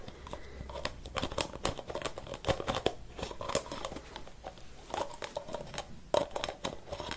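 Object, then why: Metal aerosol can with plastic cap. A blue and white metal aerosol can with its white plastic cap on is held in one hand while fingertips tap and scratch the cap and the can. A steady stream of quick, crisp clicks and light scratchy rustles is heard, each tap short and dry with a faint midrange knock. The sound stays soft and close, with uneven bursts of tapping throughout.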